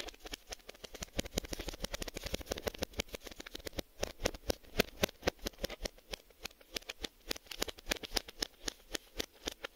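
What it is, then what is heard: Cardboard VHS tape box. Several fingertips with short nails tap and scratch quickly on the front of a cardboard Maxell VHS tape box. The result is a rapid, uneven stream of short, dry, bright clicks that stop without ringing, over a faint scratchy rustle.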